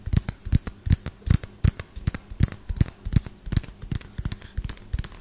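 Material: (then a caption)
Plastic. Fingernails and fingertips tap quickly on the frosted plastic dome of a small, hollow LED light bulb held in one hand. The result is a fast, uneven run of short, dry taps, each a dull low thump with a bright, high tick on top and almost no ring.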